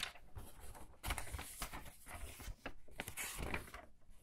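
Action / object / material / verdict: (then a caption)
scrape / paper pages of a large hardcover book / paper / none. Thin paper pages of a large hardcover book lying open on a table are flipped quickly by hands with long red nails, and a palm presses and rubs the open pages flat. The result is a string of crisp, bright papery swishes and rustles with soft low thumps as the pages settle.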